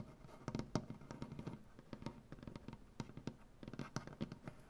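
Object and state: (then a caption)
Wooden butcher block table. Fingernails from both hands tap quickly on a solid, light wooden butcher block tabletop. The result is a rapid, uneven patter of short, dry clicks with a warm, woody low body and almost no ring after each tap.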